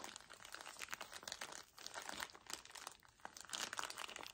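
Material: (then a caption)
Plastic film. A soft, full paper tissue pack in thin plastic film is crumpled and squeezed by fingertips with short nails. The result is a continuous, fast, bright crinkling with dense crackly bursts that rise and fall, and almost no low end.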